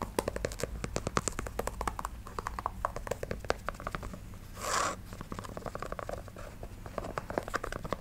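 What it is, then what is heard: Canvas sneaker with rubber sole. A hollow, empty black canvas low-top sneaker in the Converse One Star style, with a white rubber sole, is held in one hand and tapped and scratched along its rubber sidewall and upper with long acrylic nails. Rapid, dry, sharp clicks continue throughout over a faint low hum. Around the middle of the clip, a short, brighter scratching hiss briefly rises above the tapping.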